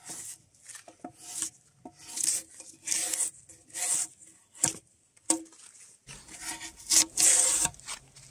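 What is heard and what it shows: Gloved hands pull a metal draw knife along a long, solid spruce log, partly debarked with pale wood showing, scraping off strips of bark. About nine bright, high, rasping scrapes come in uneven strokes, each with a short dry attack and almost no low end.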